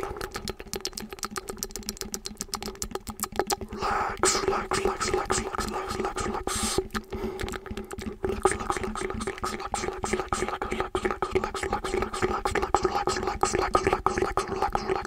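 Fingers tap and scratch the knobbed surface of a hollow blue foam roller held with its open end at the mic. A fast, uneven stream of soft taps and scratches rings through the tube with a steady hollow resonance around 200, 400 and 800 Hz. Brighter, denser scratching swells in just after the fourth second.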